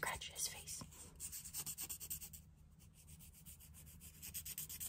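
The pointed tip of a wooden stick scratches and rubs the surface of a palm-sized, solid, smooth grey river stone with painted eyes and a smile, held in the hand. A quiet, rapid series of short, bright, dry scraping strokes is heard, mostly high-pitched hiss with little low end.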